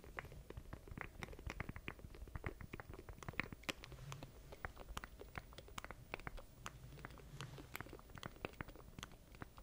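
A small black plastic stream deck with a grid of button keys is held in both hands close to the mic while fingertips tap and press its keys. The result is a quiet, rapid, irregular run of short, dry plastic clicks and taps with bright transients over a soft low rumble.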